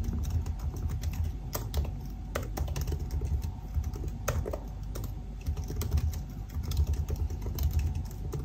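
Fingertips type steadily on the black plastic keys of a silver aluminium laptop, producing a quick, continuous stream of short key taps. Each tap is a sharp, bright click over a dense low thump, and a faint steady hum sits underneath throughout.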